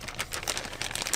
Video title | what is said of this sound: Doodling with Sharpie Acrylic Markers | you can hear the liquid when you shake it